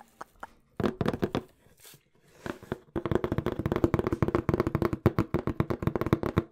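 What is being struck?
Corrugated cardboard box.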